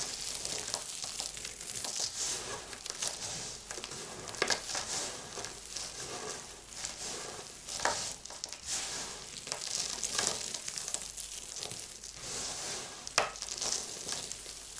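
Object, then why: Pile of bar-soap shavings and chunks. Hands with long lilac nails scoop, squeeze and crush a pile of dry, brittle bar-soap flakes and chunks in yellow, white, blue and dark bits on a white surface, letting the pieces fall through the fingers. A dense, bright, crackling crunch runs throughout, like a steady sizzle, with occasional sharper, louder crunches as the chunks break apart.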